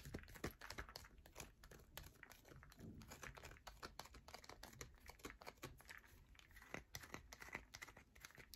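A solid yellow bar of soap is held in a palm while long nails scratch its surface, sending shavings falling. A rapid run of many short, dry scratches and taps crackles on and off at a quiet level, each sound dying almost at once. The scrapes have a bright, crisp edge over a soft low rustle.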